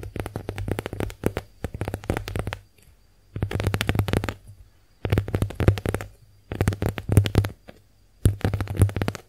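Long acrylic nails tap and scratch the textured surface of a small, soft, porous pink heart-shaped konjac face sponge held in the hands. Five bursts of rapid, dull taps come in quick flurries separated by short silences. The sound is soft and low, with little brightness and almost no ring.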